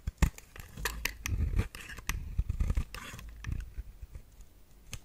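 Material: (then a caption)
Soap. A metal blade with a white handle scrapes and cuts a round, solid, dry pale pink bar of soap held in the hand, and pieces chip and break off. A run of crisp scratching and cracking sounds with dull, low thuds comes through, each snap short and dry with almost no ring.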